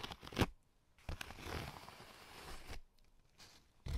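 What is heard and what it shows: A corrugated cardboard sheet, held in the hand with its ribbed surface facing up, is tapped and scratched with AA batteries worn on the fingertips. A few quick dull taps, the loudest near half a second, give way to a steady rasping scratch across the ribs lasting about one and a half seconds. After a quiet pause, a sharp tap lands at the very end.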